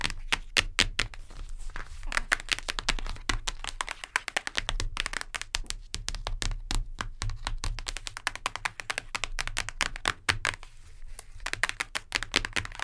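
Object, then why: Hardcover book, cardboard cover. Long nails tap rapidly on the cardboard cover of a hardcover book, producing a dense, steady stream of sharp, dry clicks with bright highs. Each tap dies away almost instantly, with a faint low rumble running underneath throughout.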